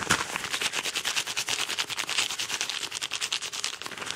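Fingernails scratch and squeeze a crinkled, hollow yellow Amazon kraft paper padded mailer envelope fast and aggressively. The result is a dense run of rapid, bright, papery scratches and crackles, with almost no low end.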